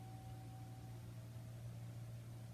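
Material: Nothing is struck.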